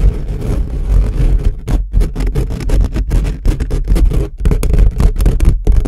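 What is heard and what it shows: Fingertips and short nails rapidly scratch and tap the hollow steel-mesh grille of an upright microphone. The result is a dense, boomy stream of low rumbling scrapes and thuds with a deep resonance, broken by a few brief near-silent gaps.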